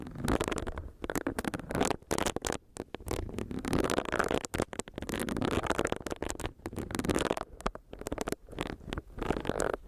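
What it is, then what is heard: Silicone face scrubber. Long nails tap and scratch the top of a small, solid pink silicone facial brush whose bristle pad is pressed against the microphone. The result is a dense, crackling stream of short, dry taps and rubbing scrapes, centred in the low-mids around 400 Hz with a rumbling low end and little high content. It pauses briefly now and then.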